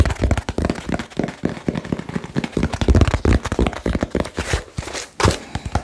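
Fingertips tap fast and aggressively on a small, hollow, labeled cardboard box. The result is a rapid, uneven flurry of dull, low thuds, each dying away almost instantly, with brief pauses between bursts.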